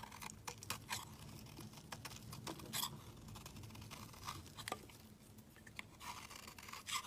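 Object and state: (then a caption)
Soap bar being shaved. A steel utility knife blade shaves a solid white bar of soap into powdery flakes. Quick, dry scraping strokes give bright, crisp crackles and rasps with a faint low hum underneath, and the soap comes away as fine powdery flakes.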